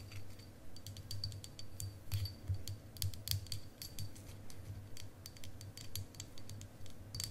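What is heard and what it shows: A long, solid, faceted clear quartz crystal wand, about hand length, is held in both hands and tapped and scratched with long acrylic nails. Quick, bright, sharp clicks and scratchy ticks come at an uneven pace over a steady low hum.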